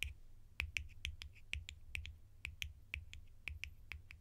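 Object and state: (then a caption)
Plastic lids being tapped. Plastic lids are tapped sharply in a quick, uneven series of short, dry clicks. Each tap is bright and crisp, peaking around 2.5 kHz, and stops almost at once with no ring, over a low, steady rumble.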